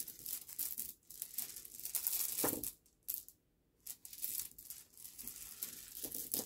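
Fingertips gather and rub a pile of small, smooth, solid polished river pebbles on a black cloth, making them clink together. The result is a bright, dense clatter of quick clicks with almost no low end, breaking off into short pauses, including a near-silent gap in the middle.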